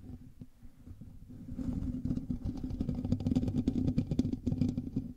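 A black microphone's hollow metal mesh grille is scratched and rubbed with the fingertips and nails of both hands. Dense, rumbling scratches and rasps start faint and grow louder, carrying a steady low hum around 250 Hz with brief bright crackles.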